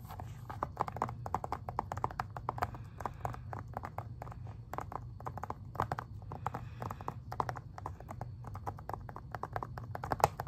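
Fingertips and nails tap rapidly and steadily on the front of a plastic Xbox 360 game case, making a dense run of short, dry clicks. The ticks sit mid-high around the upper midrange, each dying almost instantly over a low steady hum, with a few louder taps standing out near the end.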